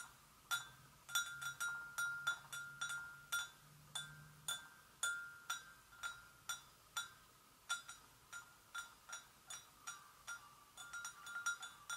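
A porcelain gravy boat is gently tapped, giving quiet, bell-like clinks that ring at about 1.4 kHz with bright overtones. Each tap fades in roughly a quarter second. The taps come in an irregular, unhurried rhythm over a faint low hum.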